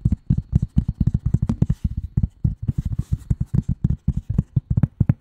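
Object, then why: Flat cardboard sheet. A flat gray cardboard sheet is tapped quickly with the long nail tips of both hands, making a fast run of about 33 short, dull, low taps. Each tap dies away almost at once, with only a faint bright click on some strokes.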